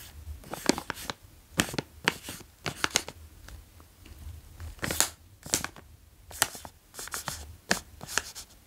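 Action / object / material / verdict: tap / plastic snack bag of cheese puffs / plastic / none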